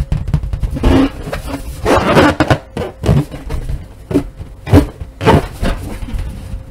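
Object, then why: Inflated latex balloon. A large inflated purple latex balloon with white polka dots, hollow and air-filled, is held over a wooden table and tapped and rubbed with long nails and fingertips, while deflated balloons lie nearby untouched. Dull, hollow thumps with a low boom mix with squeaky, rubbery rubbing. Each sound dies away quickly.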